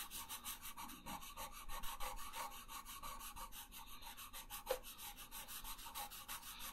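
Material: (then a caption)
Paper. A yellow wooden pencil colors a thin paper coloring page resting on a wooden table, making quick back-and-forth rubbing strokes. The scratchy, raspy sound has a bright, hissy top and comes in a steady run of soft pulses. One sharper tick stands out near the end.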